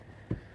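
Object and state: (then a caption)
Solid flat roof. Before getting out of a tower ladder bucket, a firefighter sounds the flat roof below the parapet by striking it hard with a hook. A single dull, low thud is heard, with almost no ring, over a faint steady background hum. The roof is solid.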